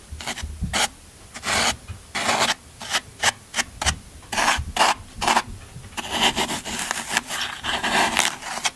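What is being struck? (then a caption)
Floral foam block and metal scraper. A yellow-handled metal scraper rakes repeatedly across the end of a solid green floral foam brick, crumbling the foam. Each stroke makes a dry, crunchy, bright rasp with a short fade. The strokes come in quick uneven bursts, then run into a denser, steadier scraping toward the end.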